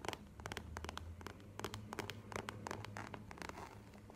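Long nails tap on a small map-printed faux leather wallet standing on a table, making a rapid, uneven run of short, dry clicks. A steady low hum sits underneath the taps.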